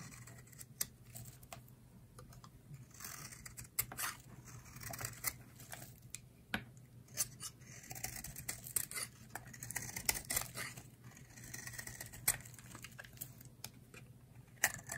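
A solid green bar of dry soap, held by long-nailed fingers, is carved at the corners with a utility knife blade, producing crisp shavings. Many sharp, bright scraping cuts and dry clicks come in quick, irregular bursts over a faint steady low hum.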